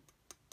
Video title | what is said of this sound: Think Like a Citizen Scientist | I tap it with my finger it definitely sounds like when you tap plastic